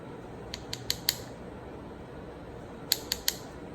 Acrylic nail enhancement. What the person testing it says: it's dry. You hear that tapping sound?